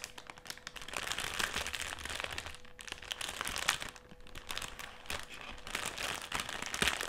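A folded black foil-lined metallised plastic crisp packet rests on a table while fingertips rub and scratch it. The result is dense, bright crinkling and crackling with sharp little snaps, rising and falling in waves, over a faint steady low hum.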